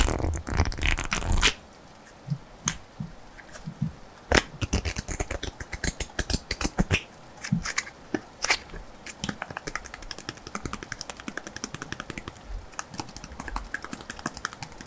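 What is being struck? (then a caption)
Thin cardstock playing card. A single thin cardstock playing card, held in both hands, is tapped and scratched on its flat face with fingertips and short nails. A louder papery rustle in the first second and a half gives way to a long run of quick, dry, bright clicks and light scratches with almost no ring.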